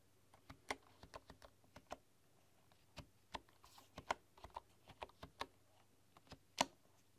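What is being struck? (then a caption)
Bamboo keyboard with wooden keys. A full-size bamboo computer keyboard with wooden keys is typed on slowly with fingertips and long nails. The result is a quiet, irregular series of short, dry wooden taps and clicks with a mid-range knock and bright edges, each dying away almost instantly.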